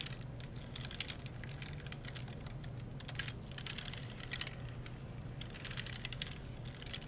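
A gloved hand rubs a folded wipe along the keys of a black plastic computer keyboard, pressing the hollow plastic key caps. Quick, bright clicks and light rattles come in uneven bursts over a steady low hum, with each click dying away almost at once.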